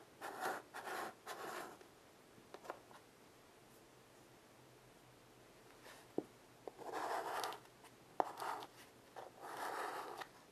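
A child draws curved shapes with white chalk on a small wood-framed blackboard resting on carpet. Short bursts of bright, dry chalk scratching alternate with quiet pauses. A few sharp taps of chalk striking the board are heard in the second half.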